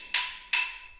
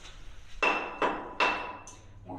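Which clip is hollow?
The second.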